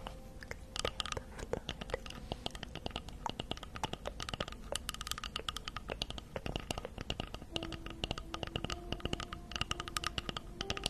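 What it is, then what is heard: Wooden log slice. Long acrylic nails tap and scratch the cut face of a round slice of solid wood tree trunk with a bark edge, held upright in front of a fluffy microphone. A dense, steady stream of crisp, dry clicks and scratchy taps with bright edges continues throughout, each tap dying out instantly over a soft low background, with faint steady tones entering in the second half.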